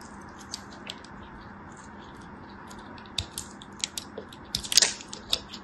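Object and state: Dry bar soap being scraped.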